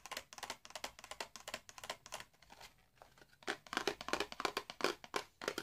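A small, hollow, red printed cardboard box holding a candle is tapped and scratched with fingertips and nails. Quick, dry, bright taps and papery scratches come in fast, uneven bursts, easing off to a quieter stretch midway before picking up again. Each sound is short, with almost no ring and little low end.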